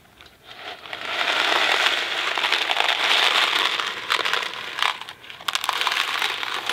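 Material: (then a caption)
Cardboard. A thin cardboard Kraft macaroni & cheese box, about 18 cm long, hollow and filled with dry pasta, is held in one hand and shaken and tilted so the pasta rattles inside. The result is a dense, bright, crackling rattle with no low end. It swells after a quiet start, stays steady, then dips briefly twice before surging again.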